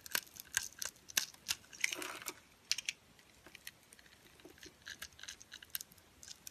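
A metal utility knife blade scrapes pieces off a solid, pale yellow, dry translucent soap bar scored into cubes, held in fingers with long nails. It makes a rapid series of sharp, dry, bright crunches and crackles with no ring, including one longer grinding scrape near the start. The crunches grow softer and sparser toward the end.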